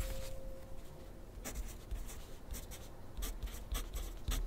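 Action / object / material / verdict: scrape / wooden pencil on paper sheet over a clipboard / paper, graphite / none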